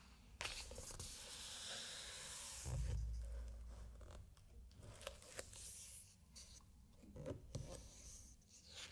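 A flat open hand rubs and slides across a glossy paper page of a large hardcover aviation book lying open, then grips the page edge and turns it. The result is a steady, bright papery swish with a low, soft thump partway through, followed by quieter rustles and small crisp ticks as the page moves.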